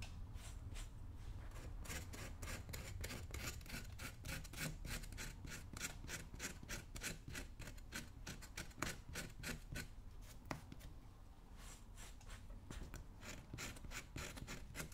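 A slim metal pick-like tool is dragged and scraped along the upper of a worn brown leather work boot on a foot, while the other hand steadies the boot. Quick, uneven rasping strokes repeat steadily throughout, each a short bright scratch over a low, dull rumble.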